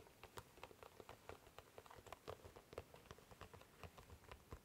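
An empty, glossy black leather dress shoe, held in both hands, is tapped and scratched by fingertips on its upper and sole at a slow pace. The result is a quiet, steady series of short, dry taps with a midrange knock around 500 Hz, mixed with soft scratchy rustles that die away almost at once.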